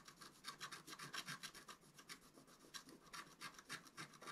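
A wooden stylus scratches near the top edge of a flat, wax-coated scratch-art paper card lying on a table. It makes a quick run of dry, bright, raspy strokes, about three to four per second, with short, crisp attacks and almost no low end.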